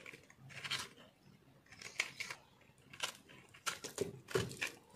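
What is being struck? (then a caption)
Soap bar and metal knife. A metal knife carves and scrapes crunchy chunks off a yellow-green speckled, multicolor solid soap bar held in the hand. Repeated bright, crisp crunching scrapes come in short bursts separated by quiet gaps.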